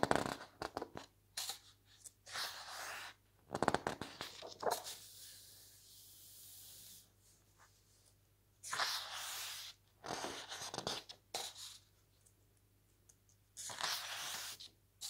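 Fingers turn the glossy pages of a large open paper lookbook, letting each page curl and fall. Soft, bright swishes and papery rustles come in bursts with sharp little flicks and snaps, separated by quiet pauses.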